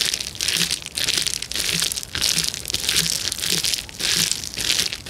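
Both hands press and crush the bubbles of a clear plastic bubble wrap sheet with their fingertips. Bright, dense crinkling and crackling comes in repeated swelling bursts with little low end, with faint low pops scattered through.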